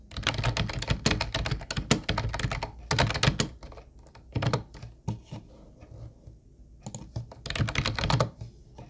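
Fingertips of both hands type on a mint-blue plastic Ubotie retro keyboard with round white keycaps. Quick bursts of clacky keystrokes combine a thumpy low body with bright, short clicks. Two quieter lulls break the bursts before fast typing resumes near the end.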